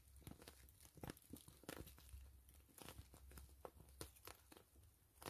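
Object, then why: Soft PVC mesh zipper pouch. Long fingernails scratch and tap the crinkly plastic surface of a soft, hollow, slightly filled gray and clear PVC pouch with grid mesh and a zipper. The result is a quiet, fast series of short crackling taps and scratchy crinkles with bright edges over a low rumble, each dying away almost instantly.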